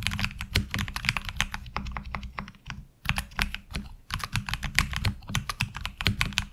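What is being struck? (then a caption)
Mechanical keyboard with ABS plastic keycaps. Continuous two-handed fingertip typing on a HyperX Alloy Origins Core tenkeyless mechanical keyboard with black ABS plastic keycaps and lubed tactile switches, resting on a desk mat. Rapid, short clacky keystrokes with bright, crisp tops over a deeper thocky body, with a brief lull near the three-second mark before the steady rhythm resumes.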